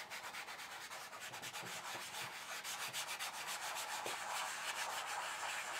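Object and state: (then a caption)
Chalk rubbed on paper. Flat fingers and fingertips rub and blend chalk across a flat black paper sheet lying on a table. The result is a steady, soft, papery hiss of quick back-and-forth strokes, about three or four per second, bright and airy with no low end. It grows slightly louder toward the end.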